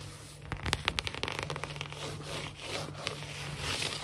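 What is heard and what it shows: Long fingernails of both hands tap and scratch quickly across a large, solid, glossy wood-look laminate floor. A rapid run of sharp, clicky taps gives way to bright, rasping scratches and rubbing over a steady low hum.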